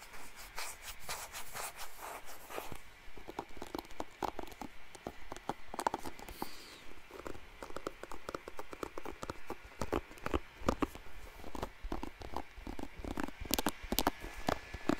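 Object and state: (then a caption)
Plastic hairbrush. Fingernails scratch across the bristle face of a blue plastic paddle hairbrush with many bristles, held close to the mic. The result is a dense, irregular run of short, dry plastic clicks and rasps with bright crackle, rising and falling in quick bursts throughout.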